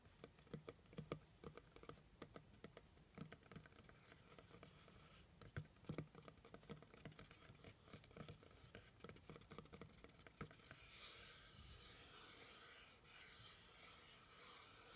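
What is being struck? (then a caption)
Cardboard box. Fingernails tap and scratch rapidly on the top and edge of a hollow brown kraft cardboard box, making a dense patter of soft, short, hollow low thumps. After about eleven seconds the tapping gives way to a steadier, brighter scratching hiss across the surface.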